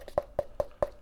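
Five quick, dry taps on the bottom of a plastic tub of pump supplement produce short, hollow knocks with a mid-pitched tone around 590 Hz that dies away almost instantly. The taps reveal that the grainy powder has caked hard at the bottom instead of staying loose, firm enough that it has to be scraped off with a fork, and particles fly up with each tap.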